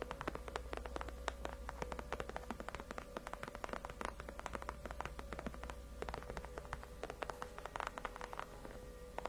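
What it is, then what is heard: Faux leather chair backrest (named). Long acrylic nails rapidly tap and scratch on the large, white, padded faux-leather (PU) backrest of a solid, cushioned gaming chair. The result is a quiet, dense stream of short, dry clicks with a soft scratchy texture over a faint, steady low hum.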